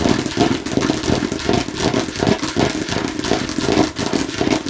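Fingernails rapidly tap and scratch the red face and green rind of a hollow plastic watermelon-slice bottle. The result is a dense, uneven stream of hollow, mid-pitched clicks and scrapes with a slight bright edge that never stops for the whole clip.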